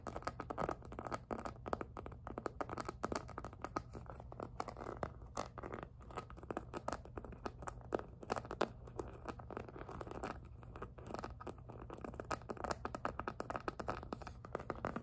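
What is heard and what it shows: Long nails scratch and grip the glossy plastic edge of a pink jelly PVC handbag, near the flower appliqués on its side. The result is a steady, dense stream of quiet crinkling, scratching rasps and short crackly ticks. It is mostly midrange with a low steady hum underneath and very little bright content.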